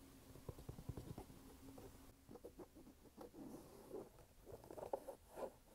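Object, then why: Canvas and rubber sneaker. Fingernails tap and scratch a red canvas sneaker held close, working over the canvas upper and the rubber sidewall. Soft, dull taps mix with rustling, scraping scratches, all quiet and muffled with little high end. Each tap stops almost at once, with no ring.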